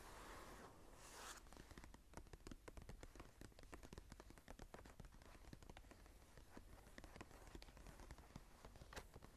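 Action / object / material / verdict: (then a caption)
tap / paper journal pages / paper / none. Long pointed nails on both hands scratch and tap the blank cream paper pages of a small open journal. A soft scratching rustle opens the clip, then gives way to a quick, steady run of short, dry taps and scratches. The sound stays quiet and close throughout, with little ring after each tap.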